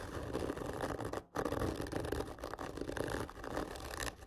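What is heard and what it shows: Fingernails of both hands scratch slowly and hard along a large, hollow, black printed cardboard whisky gift tube lying horizontally. The result is a steady, dry, rasping scrape with a hollow mid-range body, broken by one brief pause near the 1.3-second mark before the scratching resumes.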